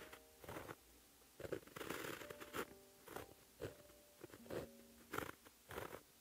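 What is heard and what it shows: A white gel pen, held in the fingertips, writes Korean letters on a flat sheet of black lined paper. The pen tip makes about ten short, quiet, scratchy bursts of strokes, separated by brief pauses. Faint steady low tones hum underneath.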